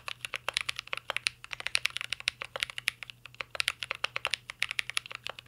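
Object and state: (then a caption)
Mechanical keyboard typing. A mint green Cyberboard R3 mechanical keyboard with a metal case and plastic keycaps is typed on continuously with the fingertips of both hands. About 45 quick, bright clacks sound in a steady, slightly uneven stream, each dying away almost at once, with a faint low hum underneath.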